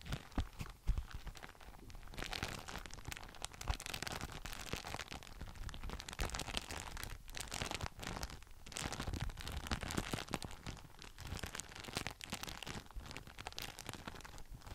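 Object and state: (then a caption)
Plastic document folder. An empty, translucent frosted plastic document folder with thin sheets and a stiff edge is held in front of the face and flexed and squeezed by the fingers. The result is a continuous crinkling and crunching across the whole clip, with sharp bursts in the first second and brief dips near the 7 and 8.5 second marks.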